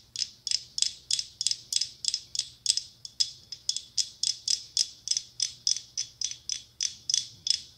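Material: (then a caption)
Glass. A hollow decorative mosaic glass pumpkin covered in red, gold and silver mirrored glass tiles is held in one hand and tapped and scratched across the tiles with long acrylic nails. About 28 short, bright, clicky ticks follow one another at a quick, uneven pace, each dying away almost instantly. The result sounds like a ratcheting mechanism, with no low body to the sound.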